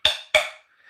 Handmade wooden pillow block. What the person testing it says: 여기 치니까 목탁 소리에 가깝죠